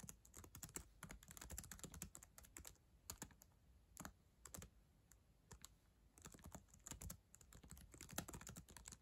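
Long acrylic nails and fingertips tap the plastic keys of a black ThinkPad laptop keyboard resting on a yellow blanket. Quick, soft, bright clicks come in rapid typing bursts, with quieter sparse taps in the middle stretch. The typing then picks back up into dense clatter.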